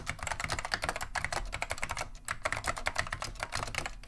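Both hands type continuously with the fingertips on a beige plastic vintage Wang 725 mechanical keyboard fitted with Alps SKCM Neon Green/Lime switches. The result is a rapid, steady stream of sharp, bright plastic clacks that die away almost instantly, with a soft low thump beneath each press.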